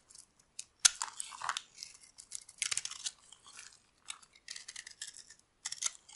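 A metal blade carves and scrapes flakes off a solid oval cream bar of dry soap held in the hand. The result is a series of crisp, dry, high-pitched scraping and crunching bursts with short pauses between strokes, and no low end.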